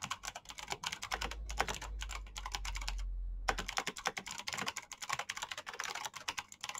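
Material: Plastic.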